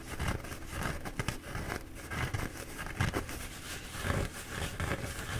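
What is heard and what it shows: Fingertips rub and scratch the soft paper of a bee-printed paper towel roll held in both hands, moving back and forth. The result is a soft, continuous papery scratching and rustling with a muffled, low-heavy body and brief louder swells as the strokes change direction.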